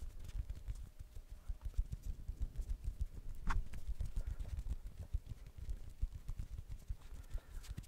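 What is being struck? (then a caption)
Plastic ball. A blue plastic ball is tapped repeatedly, giving a steady run of quick, dull, low thuds that sound like soft clip-clop knocks. Each tap dies away almost at once, and one sharper, brighter tap stands out midway through.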